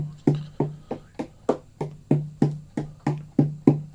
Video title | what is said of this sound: Part 10 Spooky OM Blackheart sassafras acoustic guitar build. Closing the box. | it sounds very much like a nice tight drum to me. Which is what we want it to be.